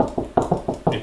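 Six knocks on a drywall wall to find the studs give dull, hollow thuds between the studs. The knocks fade quickly, with most energy in the low-mid range and little high-frequency content. The change in sound over a stud is hard to hear.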